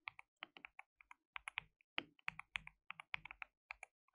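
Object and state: Plastic mechanical keyboard.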